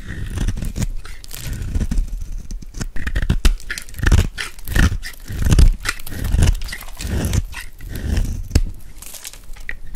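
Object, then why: Bar of soap carved with a metal blade. A metal blade scrapes and carves curls off a hand-held, dry, solid blue soap bar with a gold embossed rim. The sound is a dense, irregular run of short, dry crunching and scraping strokes with a heavy low thud under each pass and faint bright crackle on top.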